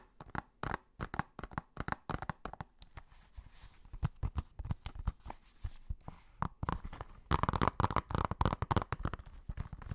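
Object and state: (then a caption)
Plastic Blu-ray case. Fingernails tap and scratch the cover and spine of a blue plastic Blu-ray case. Quick, irregular, dry clicks with a midrange knock alternate with softer scratching rustle in between. The tapping grows denser and louder toward the end.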